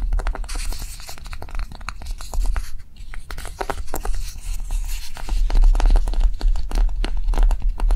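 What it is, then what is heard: Dried light clay block. Long nails tap and scratch a small, solid, pink block of dried light clay with a rough, textured surface, first stood upright and then held. Quick, dry, clicky taps mix with scratchy rasps over a steady low rumble, and each tap dies away almost at once.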